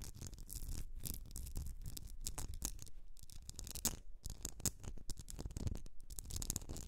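Long nails scratch and tap the sides of a medium etched glass candle jar filled with solid wax, resting on a fur rug. A steady run of dry, bristly scratches is broken by short, sharp taps with bright clicks and almost no ring, over a soft low rumble.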